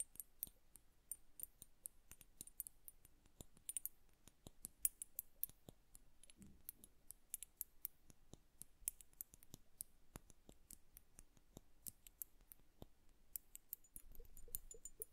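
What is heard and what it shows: Long nails tap the lower bulb of an upright, liquid-filled glass bubble hourglass. The result is a quiet, steady stream of sharp, bright clicks with almost no ring. A faint low thump appears in the middle and a soft low rumble near the end.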